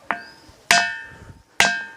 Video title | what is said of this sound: एक ऐसा मंदिर जिसमे पत्थरों में से आती है घंटे की आवाज - काकुन प्राचीन मंदिर - बुंदेलखंड वीडियो | यह है तो पत्थर लेकिन इसमें हम ठोकते हैं तो धातु की आवाज आती है